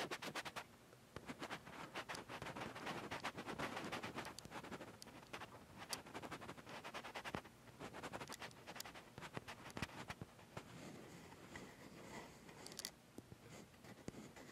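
Fingertips and short nails scratch the top and sides of a metal Sony A7s mirrorless camera body, fitted with a Zeiss lens and a metal L-bracket on a tripod. Its built-in mics pick the scratching up directly from the hollow body. The result is a quiet, dense run of dry, bright scratches and rapid clicking ticks, with sharper taps standing out now and then.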